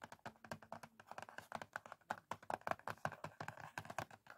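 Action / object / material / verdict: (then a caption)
tap / small cardboard matchbox / cardboard / none. Fingertips and short nails of both hands tap quickly on the top of a small, closed, printed cardboard matchbox, like typing. A rapid run of about thirty dry, hollow, papery clicks, each dying away almost instantly, with a light midrange knock and little low end, stays quiet and even.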